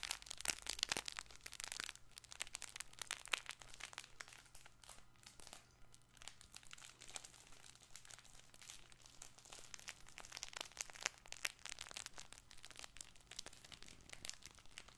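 A soft, stuffed fabric crinkle toy ball with crinkle filling is squeezed and scratched with fingertips while held close to the microphone. Dense, bright crinkling and crackling with rapid, sharp clicks continues throughout, rising and falling in bursts over a faint steady low hum.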